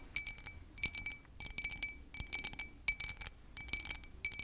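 Tapping and scratching on a textured glass object makes crisp, clicky glass clinks. The sound comes in short bursts of quick taps separated by brief pauses. The taps are bright and high, with very little low end and almost no ring.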